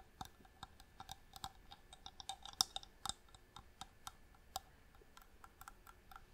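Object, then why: Small hollow inlaid wooden box. A small hollow wooden box with striped marquetry inlay, held in both hands, is tapped with long nails. It makes a quiet, irregular series of sharp, dry, bright clicks that stop dead with no ringing.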